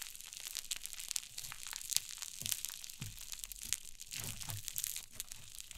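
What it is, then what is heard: Cloud slime. Long nails pinch, press and scratch a mound of white cloud slime sitting on a wooden table. The result is a steady stream of quiet, bright crackling and crunchy crinkling, with soft low thuds as the slime is pressed down.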